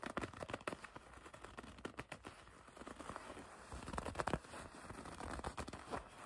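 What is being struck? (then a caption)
Leather jacket. A dark leather jacket is gathered in both hands while long red nails grip and rub its flexible leather surface. Soft, scratchy crinkling and creaking carry on throughout at a low level, broken by brief sharp crackles and rustles.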